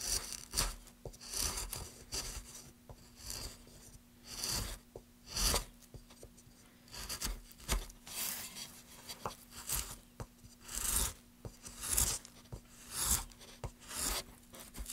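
A gloved hand scrapes and carves the surface of a solid, light wooden board with a metal gouge. Repeated bright, rasping strokes rise and fade over a faint steady low hum, with short dry pauses between them.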